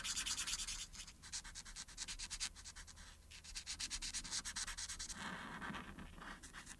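A marker's felt tip rubs in rapid short strokes across a thin printed paper coloring sheet lying flat, colouring in the collar. The strokes make a quiet, bright, scratchy rasp with a brief pause near the middle. Toward the end it turns into a softer, lower rubbing before the bright strokes return.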